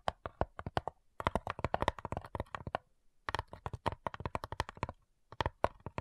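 Long nails tap and scratch the top lid of a small, hollow, light-wood cigar-style box with brass clasps lying flat. Rapid bursts of dry, hollow clicks with a midrange knock around 650 Hz die away almost instantly, separated by brief pauses.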